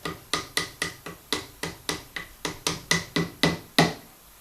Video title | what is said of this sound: Singer 201. Unfreezing the simple bering that is part of the raising and lowering of the dogs. | when you hear it change tone you know you've got as far as you can and you stop